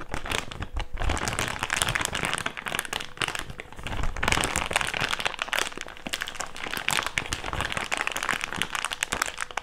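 An empty, hand-sized, thick clear plastic bag is crumpled and rubbed between the fingers. It makes a steady, dense crinkling and crackling that stays bright and sharp throughout, with soft low thumps from the handling underneath.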